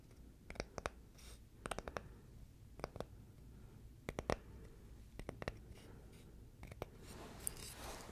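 Fingernails scratch a small, flat, solid, palm-sized oval of light wood. Short, dry, clicky scratches come in quick clusters over a low background rumble. A softer, brighter rasping scrape follows near the end.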